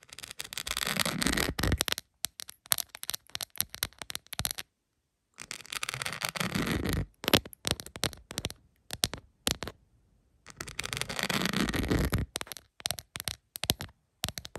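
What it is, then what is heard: Rhinestone-covered plastic phone case. Long pointed acrylic nails tap on a rhinestone-covered plastic phone case lying flat. Three bursts of rapid, dense clicking and scratching are separated by sparser, scattered taps. The sound is bright and crackly, with each tap dying away almost instantly.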